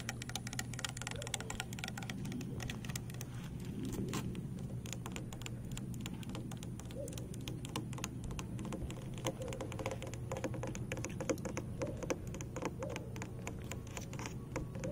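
Fingernails tap and scratch along a thin, hollow blue plastic PEX water pipe held by a metal clip on a wooden bed. The result is a dense run of quick, dry clicks and scratchy rasps over a steady low hum.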